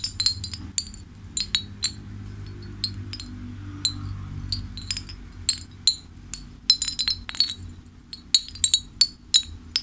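A hanging ceramic fish wind chime is held up by one hand while the fingers of the other hand flick and jostle the hanging pieces to clink them. Bright, high, short clinks come in irregular bursts, sparse at first and denser toward the end, with each tap dying away almost instantly. A faint low hum runs steadily underneath.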